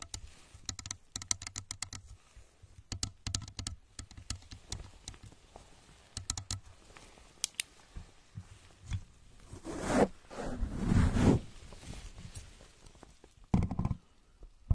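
Both hands tap rapidly with long nails on a hollow plastic rocket-shaped lamp cover resting on the microphone, making quick, irregular clicking taps that sound like typing. Several louder, fuller rubbing or scraping swells come in near the end over a low body.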